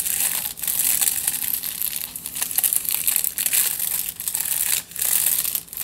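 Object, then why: Aluminium foil-wrapped tube. A crumpled aluminium foil tube is scratched along its length by fingertips and nails, giving a steady, bright, crisp crinkling. The sound is mostly high hiss with dense crackles and a few brief dips, and almost no low end.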